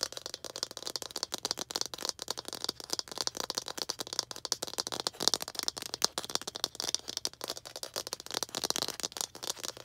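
Long green acrylic nails rapidly tap a small hollow red plastic ball held up close, making a continuous stream of dry, bright clicks with no ring. The taps stay light and crisp throughout, with almost no low end.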